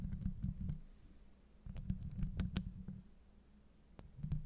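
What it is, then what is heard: Metal mesh microphone grille. Long acrylic nail tips tap and scratch across the top of a steel mesh microphone grille. The sound is mostly a dense, low, muffled rumble of rubbing and thumping in uneven bursts, with scattered sharp, bright clicks from the nail tips that die away almost instantly.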